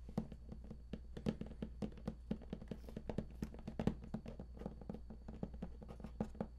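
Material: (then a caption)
Cardboard. Fingertips of both hands tap quickly and steadily on the raised lid panel of a large, hollow, printed cardboard collector's edition game box. Each tap is a soft, dull, hollow knock with a low body and a very short decay, over a faint constant low hum.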